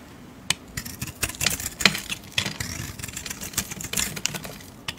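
A metal blade shaves and scrapes curls off a hand-sized, solid brown Camay soap bar with a painted floral coating, held in a hand with dark red nails. A rapid, uneven series of crisp, bright scraping ticks and short rasps sounds over a quiet background, each one clipped and dry with almost no ring.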